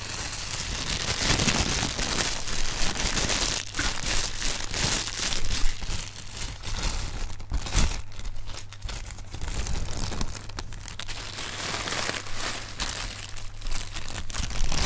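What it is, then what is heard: Plastic air cushion packing pillows. Fingertips press and knead inflated clear plastic air cushion packing pillows, the thin film giving off dense, continuous crinkling and crunching throughout. A steady low hum sits underneath, with bright rustle spreading across the highs.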